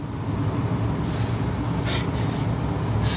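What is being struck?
Nothing is struck.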